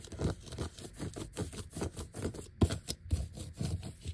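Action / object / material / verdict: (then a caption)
scrape / vinyl sticker sheet with die-cut letters / vinyl / none. A flat, thin black vinyl sticker sheet with large die-cut letters and its white backing showing is scratched and tapped with the fingertips and short nails. The result is a steady run of soft, dry, low-pitched scratching and tapping strokes with a couple of slightly louder taps near the end.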